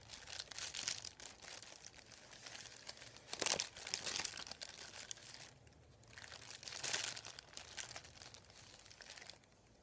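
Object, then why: Thin paper sheet. Fingertips and a palm rub and crinkle a thin, folded, white printed paper sheet lying flat on a wooden table. The result is a steady, bright, crackling rustle with almost no low end, swelling into louder crinkling bursts around 3.5 and 7 seconds. It briefly quiets near 6 seconds and fades softer at the end.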